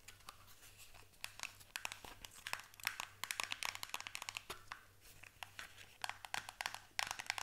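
Long fingernails tap and scratch the sides of a small paperboard box held in both hands. The result is a continuous stream of rapid, dry, bright clicks and scratchy rasps centered around 2 kHz, with almost no low end apart from a faint steady hum.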